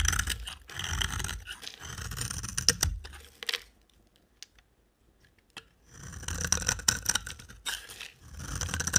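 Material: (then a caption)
Soap. A utility knife blade shaves and scrapes a solid, dry, amber-orange-brown rectangular bar of soap, sending curls falling. Bright, crackly scraping comes in dense rasping bursts, pauses for about two seconds with only a few faint ticks, then resumes in a steady run of shaving strokes.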